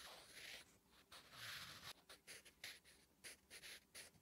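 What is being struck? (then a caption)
Graphite pencil on a paper notebook page. A wooden graphite pencil writes Korean letters on a flat, solid lined paper notebook page, giving bright, dry scratching strokes. Longer continuous scratches give way to a run of short, separate strokes, each stopping quickly.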